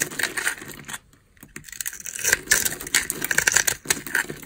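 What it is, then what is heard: Dry bar soap being carved. A metal cutter blade scrapes across the top of a palm-sized solid green bar of dry soap held in the hand, its surface pre-scored into a grid, shaving off small cubes as crumbs scatter onto the table. Dense, bright crackling scrapes come in quick bursts, broken by a brief quiet pause before the shaving resumes.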